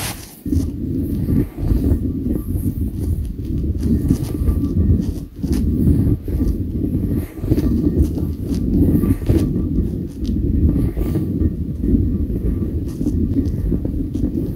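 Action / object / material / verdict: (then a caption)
scrape / inflatable PVC toy ball / plastic / none. Fingertips and nails scratch the taut surface of a hollow pink and orange inflatable PVC toy ball, about 20 cm across, held on a desk. The scratching is a dense, continuous low rasp, heaviest around the bottom end, with brief pauses breaking it into short bursts.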